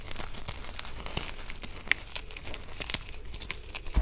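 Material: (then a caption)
Chalk. Bare hands squeeze and crumble a mass of broken white gym chalk (magnesium carbonate) chunks and powder in a teal plastic basin, working the solid, brittle pieces with fingers and thumbs. A dense, steady stream of dry, crunchy crackling and crinkling is heard, with sharper bright snaps standing out near the two- and three-second marks. A low thump comes at the very end.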